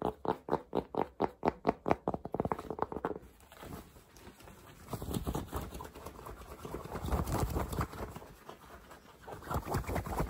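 Fingertips tap and scratch the soft crown of a dark Polo cotton baseball cap with a red logo, held in the hands. A quick run of muffled, evenly spaced taps in the first three seconds gives way to softer, irregular scratching and rustling that swells and fades across the fabric.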